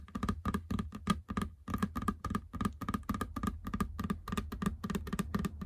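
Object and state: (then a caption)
Rubber treadmill belt. Long fingernails tap and scratch the flat, large, textured black rubber running belt of a treadmill. The result is a quick, steady run of short, dull, muffled taps that die away at once, with a faint scratchy rasp between them.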